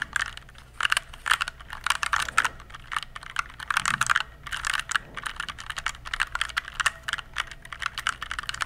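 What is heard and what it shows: Fingertips press and type on an RGB-backlit mechanical computer keyboard with plastic keycaps, held upright in both hands behind the microphone. Rapid bursts of clicky, bright tapping follow one another with short pauses between them. Each click is crisp and dies away almost instantly, with very little low end.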